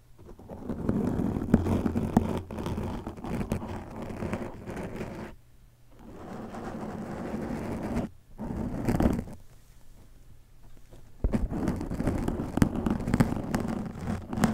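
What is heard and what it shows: Fingertips and nails scratch and tap the surface of a black foam windscreen covering a microphone. The result is a dense, muffled, low rumbling scrape with soft crackles. It thins out briefly around the middle, then returns louder near the end.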